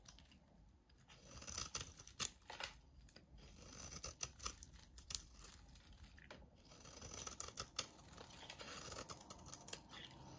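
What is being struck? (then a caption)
Soap bar. A utility knife blade scrapes and shaves a hand-sized solid lilac soap bar with a red rim. The quiet clip is full of crisp, bright scraping strokes and short sharp crackles, with the blade's rasp rising and easing throughout.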